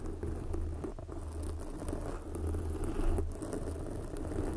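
Long glossy black fingernails of both hands scratch a soft, porous red foam windscreen covering a microphone. The result is a continuous, muffled, low rumbling scratch with a deep bass hum and soft crackling texture, and almost no bright high end.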